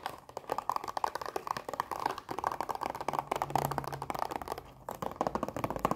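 A long plastic blister pack of dinosaur erasers is tapped fast with long nails while being tilted. It makes a dense run of quick, dry plastic clicks that barely ring, with a crinkly, mid-pitched tone centered around 780 Hz.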